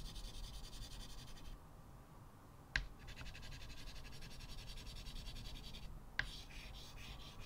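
Short white chalk strokes are drawn with the fingertips on the lower right area of a flat blackboard in a wooden frame, making a rapid, gritty scratching with a bright, raspy texture. The scratching pauses twice, and each time a sharp click marks the chalk landing back on the board before the strokes resume.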